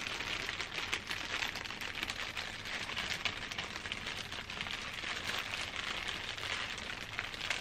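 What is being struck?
Thin plastic bag.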